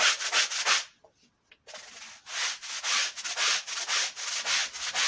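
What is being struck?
Wool rug scrubbed with a stiff brush.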